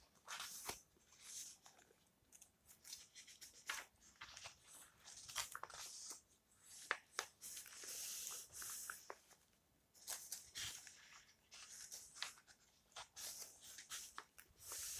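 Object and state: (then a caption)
Old paper book pages. Long red-painted nails scratch along the surface and edges of the yellowed paper pages of an open old book lying on a table. Quiet, dry, bright scratching and rustling comes in bursts with sharp crisp ticks and short pauses between strokes, with almost no low end.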